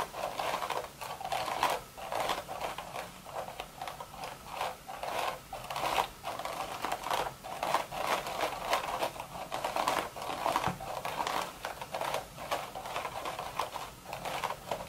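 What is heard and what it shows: Long red nail tips tap and scratch across the crown of a woven straw sun hat in a steady stream of quick, dry clicks. The crisp, papery rustle sits mostly in the midrange around 900 Hz with a bright edge and almost no low end. Each click dies away almost at once.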